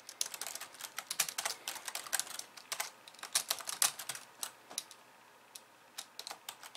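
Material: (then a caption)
Plastic. Long polished nails type with both hands on the plastic keys of a compact pink and white plastic computer keyboard. The result is a rapid, uneven run of crisp, bright clicks with almost no low end and very short decay, with a brief pause before the typing resumes.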